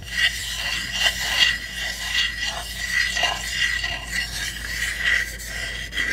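Long nails scratch and tap across the roof and sides of a small hollow pine wood hamster house. A steady, bright, raspy scratching fills the clip, with short louder swells, over a faint low hum.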